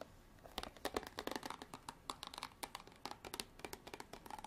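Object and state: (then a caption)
Plastic water bottle. Long black artificial nails tap and scratch on a clear, ridged plastic bottle partly filled with water. About two dozen quick, crisp clicks and scrapes come in an uneven run, bright and hollow with almost no low end. Each one dies away almost instantly against a faint background hiss.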